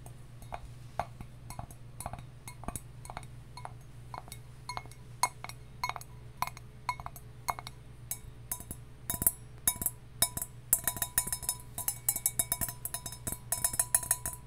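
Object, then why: Copper mug. A copper mug is tapped, first with slow, evenly spaced taps and then with faster, denser tapping. Each tap is a short, bright metallic clink that dies away quickly over a steady low hum.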